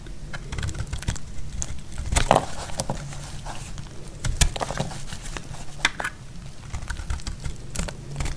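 A solid, dry orange soap bar held in the hand is cut with a metal utility blade into crumbly pieces. Short, dry crackles and scraping snaps repeat unevenly, with brief bright clicks over a soft, low rustle. Each sound stops almost at once.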